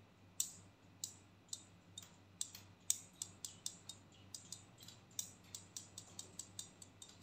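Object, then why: Plastic hair clip. A pink and black plastic hair clip is opened and closed with clicks and tapped with fingernails, making about two dozen sharp, bright, quiet clicks and taps at irregular intervals. Each click is crisp and dies away almost instantly over a faint low hum.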